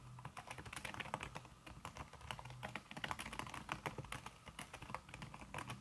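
Fast typing on a thin backlit aluminium keyboard whose plastic keys sit under a red silicone skin, struck with fingertips and long red-painted nails. A dense, continuous stream of short, soft tapping clicks with a muted low thud and a bright click edge, each tap dying away almost instantly.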